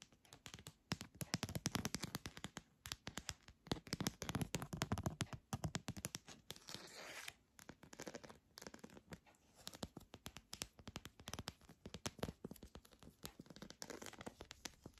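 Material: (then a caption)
Plastic. A long, hollow red translucent plastic pill organizer is held up and tapped and scratched with long nails. Dense, rapid clicks and scratchy scraping run continuously with brief pauses, with a hollow low body under crisp bright clicks.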